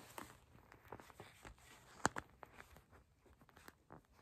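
Long acrylic nails tap and scratch on a purple gel bead eye mask, a soft plastic pouch filled with gel beads, as it rests on a table and then is held up. Quiet, dry clicking taps scatter across a soft scratchy plastic rustle, with the sharpest tap near the middle.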